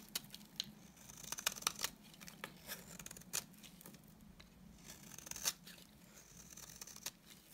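A solid, dry white bar of soap has its edge shaved with a utility knife blade. The result is a series of quiet, crisp, bright scraping and crackling strokes with sharper ticks, over a faint low hum.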